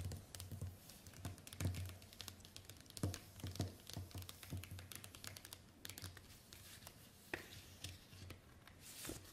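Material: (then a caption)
Plastic. Long white acrylic nails tap and scratch across a thin, flexible, translucent green plastic envelope folder with a snap button lying flat on a wooden table, making quiet, sharp clicks and light scratches over a steady low hum. Near the end the folder is lifted and bent, giving a soft, bright plastic crinkle.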